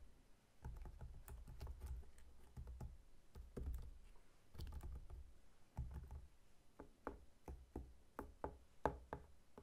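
Fingertips of both hands tap and knock on the scaly rind of a whole, solid pineapple standing upright. An irregular run of soft, dull, low-heavy knocks with short clicky attacks dies away almost instantly, with the later taps spaced further apart and sharper.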